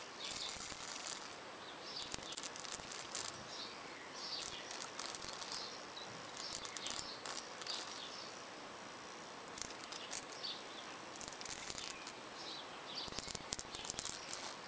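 Long purple-painted nails scratch and tap across the face of an outdoor wall of solid red clay bricks with mortar joints, with plants growing beside it. Quiet, dry, bright scratching comes in bursts with tiny sharp taps, over a steady high hiss of outdoor background noise.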